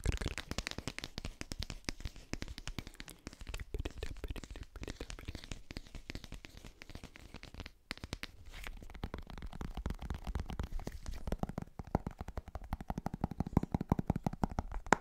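A cylindrical plastic G Fuel powder tub, likely with powder still inside, is held in the hand while fingertips and nails tap and scratch its side. The result is a fast, continuous stream of dull, low-heavy taps and crackly scratches with almost no ring, pausing briefly near the middle before picking back up.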